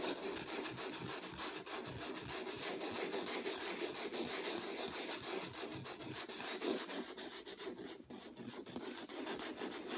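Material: Canvas.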